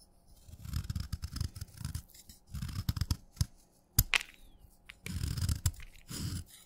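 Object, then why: Chalk stick scraped with a steel knife. A steel knife scrapes crumbly flakes off the end of a solid wet red chalk stick held on a thumb. Short, low, gritty scraping bursts come in uneven strokes, with a few sharp clicks and brief, bright crackles between them.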